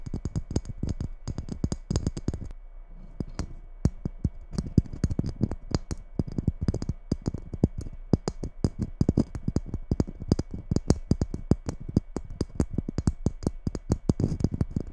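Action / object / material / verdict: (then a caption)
tap / glitter-coated Christmas bauble / glitter / none. A red glitter-coated Christmas bauble resting on a wooden table beside the microphone is tapped and scratched with long nails. Dense, fast, dry clicks and scrapes repeat throughout, with most of the energy low and thumpy and a faint bright sparkle on top.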